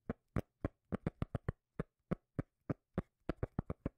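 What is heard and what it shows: A cork lid is tapped 18 times in an uneven rhythm, with some taps spaced apart and others in quick bursts. Each tap is a short, dry, low bass thump that dies away almost at once, with nothing heard between taps.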